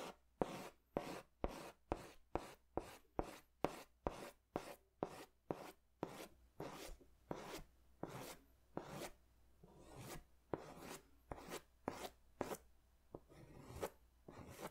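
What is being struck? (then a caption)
Crayon on paper sketch pad. A pink crayon is scratched in strokes across a large white paper sketch pad held upright. About 23 short, dry, scratchy strokes are heard, quick and evenly spaced at first, then slower and more uneven, each a brief bright rasp that stops almost at once. Softer rubbing fills some gaps against a low, steady background hum.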